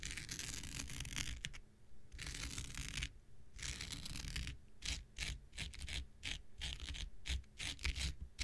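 An X-Acto knife blade scratches across a thin, blue, hand-sized non-woven synthetic fiber scouring pad held in the hand. Long bright, hissing scrapes give way to a rapid run of short, crisp scratching strokes over a low rumble.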